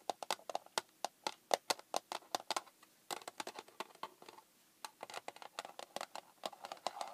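Long painted fingernails tap a small, hollow, red hard plastic case, like a handheld console case, lying flat on a wooden table. Quick, sharp clicky taps come in a steady stream with a hollow plastic tone around 700 Hz, pause briefly, then resume in denser bursts. Each tap is bright and decays almost instantly.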